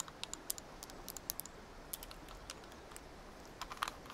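A small multicolored plastic gear puzzle cube is held in both hands while its layers are rotated and clicked with long nails. Quick, sharp, bright clicks come in irregular bursts over a faint steady hiss, each one dying away almost instantly, with a denser cluster near the end.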